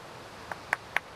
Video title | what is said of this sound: Coast Ray Mears Wild Food E2 part 2 | if it's a good piece you should have a real crystal sound like that that means there aren't so many flaws in the Flint